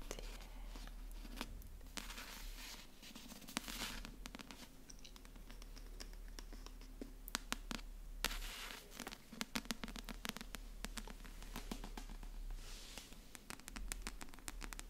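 Long fingernails tap and scratch the glossy cardboard cover of a hand-sized paperback thriller, a solid block of paper held in both hands close to the microphone. Soft, dry scratching runs throughout, broken by many sharp, bright clicking taps over a steady low hum, all at a quiet level.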